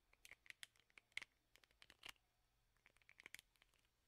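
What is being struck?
Plastic hairbrush with rubber bristle pad.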